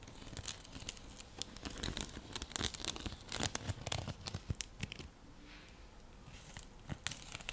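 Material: Seagrass.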